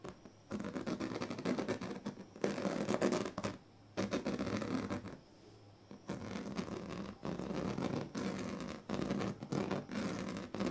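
The teeth and then the tail of a pink plastic comb are scratched along the strips of a large, flat, woven plastic sleeping mat. The result is dense, raspy scratching in bursts of a second or two, separated by short quiet gaps, with a rough broadband texture centred in the low-mids.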